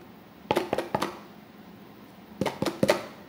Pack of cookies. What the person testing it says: has a sound if we knock it right it's solid